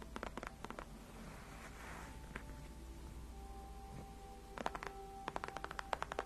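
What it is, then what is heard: Faux leather chair backrest. Long nails of both hands tap and scratch the white padded faux leather backrest of a gaming chair. Quick, crisp clicking taps come in bursts at the start and end, with a soft, breathy scratching swell in between, all over a faint low hum.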